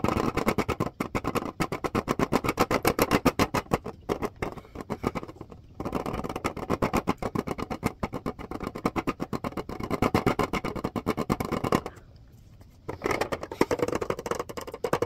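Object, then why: Plastic clipboard. A red plastic clipboard with a white clip is held up and tapped rapidly with fingertips and nails, making a dense stream of dry, hollow clicks and taps. The taps are mostly mid-toned with little bright top and no ring. They come in fast bursts with brief pauses and a short silence before the tapping resumes.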